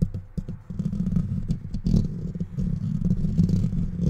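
Fingertips and short nails scratch quickly with both hands across the bare metal wire-mesh grille of a handheld-size microphone with a hollow rounded head and no foam cover. A dense, boomy rumble of rapid scratching dominates the low end, centered near 100 Hz, with frequent sharp bursts and faint bright hiss.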